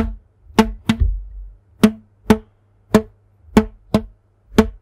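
A thin yellow elastic rubber band, stretched between two hands in front of a microphone, is plucked with the fingertips eight times. Each pluck gives a short, dull twang pitched around 215 Hz with a soft low thump, dying away almost at once.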